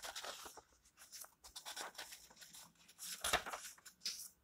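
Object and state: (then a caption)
Paper book pages. A hand sweeps over and turns the paper pages of an open paperback book with illustrated pages, making a soft, bright rustle. The sound comes in quick papery swishes and brushing strokes with almost no low end. A louder, crisp page turn rises near the end before the rustling fades.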